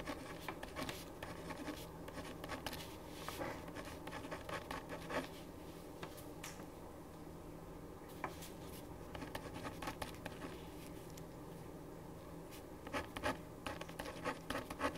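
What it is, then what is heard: Pen writing on paper. A ballpoint pen writes on a thin printed paper sheet lying flat on a wooden desk, making quiet, continuous scratching strokes with frequent short, bright ticks. A faint steady low hum runs underneath, and the strokes cluster more densely toward the end.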